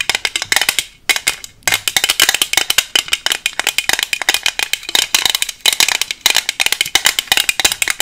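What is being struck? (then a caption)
Small hard plastic box. A small, hollow, transparent hard plastic case that looks empty is tapped quickly with long nails covered in paperclips. The result is a rapid stream of sharp, dry, bright clicks with almost no ring or low end, broken by a couple of brief pauses near the start.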